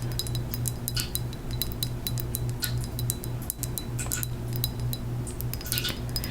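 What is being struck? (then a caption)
Small ceramic moth figurine. Fingernails tap a small handmade ceramic death's head moth figurine from a local oddities market, producing rapid, irregular clinking, glassy ticks that die away almost instantly. A steady low hum runs underneath throughout.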